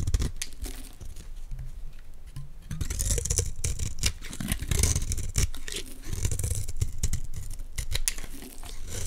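A utility knife blade scrapes thin, layered flakes off a solid square green Dalan olive oil soap bar held in the hands. The clip is a steady run of short, dry scraping strokes with a low thudding body and bright, crisp shaving edges that rise and fall across the clip.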